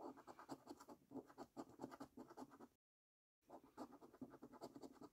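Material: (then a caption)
Paper. A coin edge scratches the latex number panels of a new £5 Prize Portal paper scratch card lying on a dark table. Quick, raspy scrapes repeat in an uneven rhythm with a dry, papery rasp, then stop for a brief silence before the scratching resumes.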